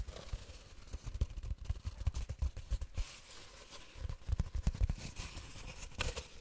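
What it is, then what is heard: Cardboard tube. A long hollow cardboard tube, about 40 cm long and wrapped in patterned paper, is held horizontally in front of the microphone and tapped and scratched along its length with long painted fingernails. Quick, dull, hollow low taps come in uneven bursts, with a quieter stretch of soft, bright scratching in the middle. A final sharper scratch rises near the end.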